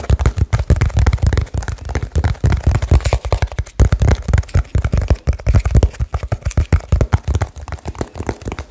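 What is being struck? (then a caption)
Small cardboard box. Fingertips tap very rapidly on a small, hollow cardboard box with blue tape, held close to the microphone. The result is a fast, continuous stream of short, deep, boomy thuds with almost no brightness and very little ring between taps.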